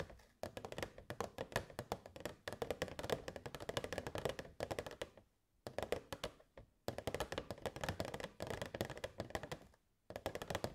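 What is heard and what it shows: Long nails tap rapidly on the sides of a hollow, clear plastic box with fairy lights inside. The result is bursts of quick, light, dry clicks with a midrange tone, broken by a few short pauses.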